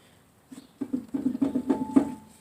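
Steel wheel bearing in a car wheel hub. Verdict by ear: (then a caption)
Bad. On a 2013 Nissan Sentra with the rear brakes apart, turning the rear wheel hub by hand makes the steel wheel bearing give off a rough, patter-like grinding. It comes as a quick run of uneven bursts pitched around 280 Hz. The bearing is bad.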